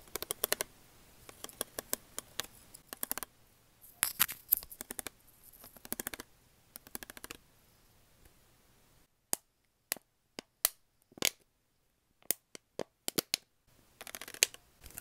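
Long acrylic nails tap and scratch a clear, hollow, disposable plastic water bottle held in the hand. Quick clusters of sharp, bright, dry clicks alternate with scratchy bursts, and fully silent gaps separate isolated taps midway through.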